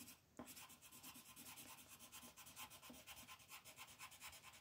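A pink colored pencil is rubbed back and forth to shade a flat white paper mandala coloring sheet lying on a table, while the other hand holds the sheet. After a brief quiet start, soft, steady, rhythmic scratchy strokes follow one after another, bright and hissy with little low end.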